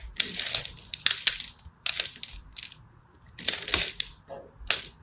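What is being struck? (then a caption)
Bar of soap. A small black blade scratches and scores the surface of a palm-sized, purple and white striped solid soap bar held in hand, flaking off dry crumbs. Bright, crisp scraping and crackling come in several short bursts separated by near-silent pauses, with almost no low end.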